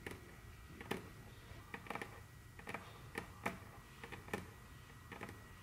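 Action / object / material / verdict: tap / wooden tabletop tapped with fingernails / wood / none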